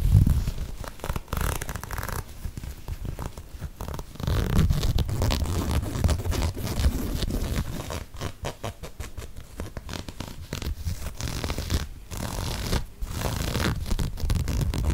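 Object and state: Knit fabric sneaker scratched.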